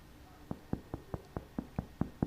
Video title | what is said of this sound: How To Make A 50% Whole Wheat Sourdough Bread | by knocking on the bottom of the loaf you can tell if your loaf is baked properly if it sounds Hollow you're golden